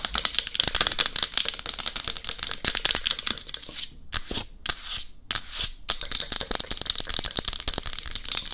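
Long acrylic nails on both hands tap rapidly on the crown and cheeks of a life-size, matte black, hard plastic dummy head microphone with a hollow shell. The result is a dense stream of short, dry, bright clicks with almost no ring. Midway, the tapping thins into a few brief swishing bursts before the rapid clicking resumes.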